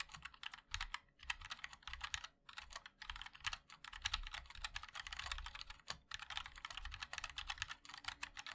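Fingertips of both hands type continuously on a compact 60% MOD-L mechanical keyboard with a black case, white and black plastic keycaps and linear switches. The result is a steady stream of quick, bright, clacky keystrokes in uneven bursts, each click dying away almost instantly, with short pauses between flurries.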